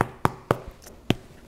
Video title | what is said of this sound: No Knead, Dutch Oven Bread | just thump it, and if it sounds hollow, your bread is done